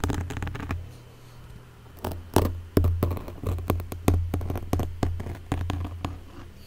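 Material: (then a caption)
Foam. A small wooden stick scratches and taps the black foam windscreen covering a Blue Yeti microphone. Soft, rapid scratching at first gives way to a run of dull, bassy thumps with a low boom and very little high end. Each tap dies away quickly.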